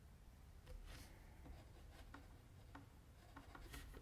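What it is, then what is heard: Pencil strokes on paper. A mechanical pencil scratches fine strokes near the chin of a drawing on a flat white sheet of drawing paper, held steady by the left hand. Soft, dry scratching and rubbing strokes come in short bursts with brief bright rasps over a quiet low rumble.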